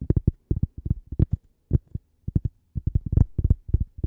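A thin, flat, solid cork coaster shaped like toast and branded 'Gibi' is held in one hand while long purple-painted nails tap and scratch its face and edge. About twenty-one short, dull, low taps come in quick clusters with brief pauses between them. Each one is muffled and deep with almost no ring.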